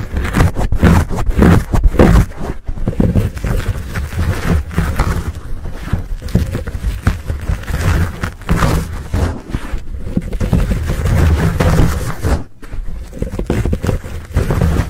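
Fingertips and short nails scratch and squeeze a soft, hollow, fuzzy black foam windscreen over a Blue Yeti microphone. The result is a dense, close, low rumbling scrape with muffled crackles, heavy in the bass with almost no high end. It runs nearly continuously, with brief quiet dips around 2.5 and 12.5 seconds.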